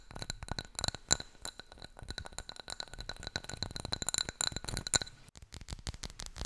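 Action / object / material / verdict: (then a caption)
tap / glazed ceramic plant pot filled with soil / glazed ceramic / none. A small striped glazed ceramic pot holding a live aloe plant, solid-walled and filled with soil, is held in both hands and tapped rapidly with long nails and fingertips. The result is a dense run of sharp, bright clicks and clinks that stop almost instantly, with a faint high ring and occasional louder taps.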